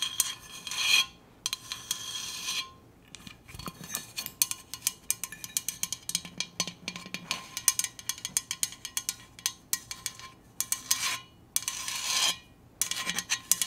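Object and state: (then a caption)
Stainless steel insulated bottle. A Hydro Flask stainless steel insulated water bottle is tapped and scratched, producing bright, metallic, clinky taps in rapid, irregular runs. The taps are separated by short bursts of scratching, with the sound concentrated in high frequencies and almost no low end.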